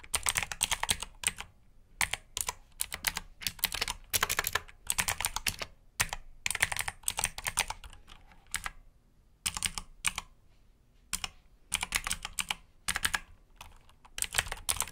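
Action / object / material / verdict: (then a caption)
tap / mechanical keyboard with plastic keycaps / plastic / none. Fingertips type on a black mechanical keyboard with plastic keycaps, and then one hand presses keys near the numpad. Rapid, bright, clicky keystrokes come in bursts separated by short pauses. Each click is sharp and dies away almost instantly.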